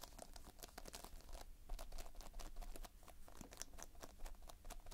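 Fingertips press and scratch across a multicolored surface of Playfoam, foam beads held in a sticky binder, very close up. The result is a dense run of soft, sticky crackles and crinkling pops with sharp, bright clicks over a steady low rumble.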